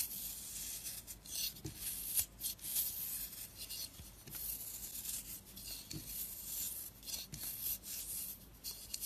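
A flat blade repeatedly scrapes the surface of a round, solid, orange and purple marbled dry soap bar held in the hand, lifting powdery curls. The result is a bright, dry, raspy scraping that runs almost continuously, with short strokes swelling and fading and soft low taps underneath.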